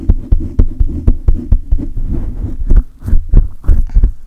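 Both hands grip a silver condenser microphone with a hollow metal mesh grille, rubbing it aggressively with fingers and palms. The result is a rapid, irregular series of deep, muffled thumps and rumbling handling noise, almost entirely bass, with a low throb around 60 Hz. A few faint brighter scratchy swishes appear toward the end.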